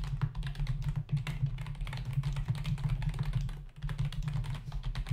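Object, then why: Plastic membrane computer keyboard. Fingertips of both hands type rapidly on a full-size black plastic membrane keyboard with hollow keys, resting on a dark desk. A dense run of short, dry clicks and taps with bright, quickly fading clatter sits over a steady low hum.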